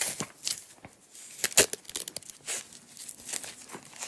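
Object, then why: Nylon hook-and-loop strap. Long acrylic nails and fingertips pull a strip of green nylon hook-and-loop strap apart from its small coiled roll, unwinding it in a series of short, bright ripping and tearing bursts. The crackly tears come in uneven spurts with little low end, the loudest near the middle of the clip.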